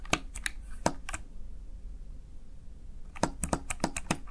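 A small backlit plastic Razer Tartarus Chroma gaming keypad has its keys pressed and tapped by the fingertips and nails of one hand. The sharp, bright plastic clicks come in a quick cluster, stop for about two seconds of quiet, then return in a faster run of taps.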